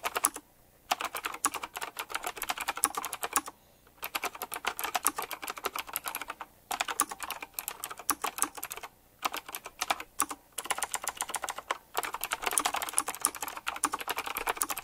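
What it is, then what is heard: Retro typewriter-style mechanical keyboard. Fingertips type rapidly on a retro typewriter-style mechanical keyboard with round plastic keycaps set in chrome rings. Dense runs of sharp, bright, clacky keystrokes come in bursts separated by brief pauses, each click dying away almost instantly.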